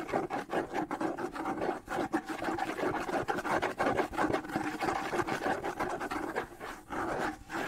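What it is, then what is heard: Wooden bongo drum shell being scratched. Fingernails scratch the decorated wooden shell of a small, hollow wood-and-skin bongo drum held in both hands in front of the face. The result is a dry, rasping scrape in quick, uneven strokes, centered in the midrange with little low end. Each stroke dies away almost at once, with no ring.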